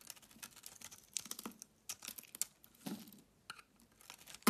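A box cutter blade shaves flakes off a solid pink-layered oval soap bar, making quiet, dry, crisp scrapes and crackling snaps that fall in bursts with short pauses between them. The sound is mostly bright with little low end, and a sharper, louder cut comes at the very end.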